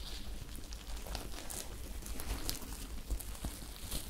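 Long acrylic nails scratch and crinkle a small, soft, empty top made of glittery sequined or rhinestone fabric, held bunched in the hands. A steady, quiet bed of crinkly scratching runs throughout with a low rumble underneath, punctuated by brief bright ticks.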